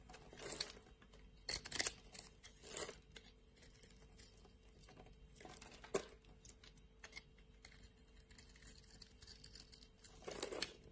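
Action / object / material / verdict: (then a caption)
scrape / bar of soap scraped with a metal blade / soap / none. A metal blade scrapes a solid light blue bar of soap, shaving off thin strips. Short, crisp, bright scraping and crinkling bursts come in irregular bursts over a quiet background with a faint steady hum, each stopping dead with no ring.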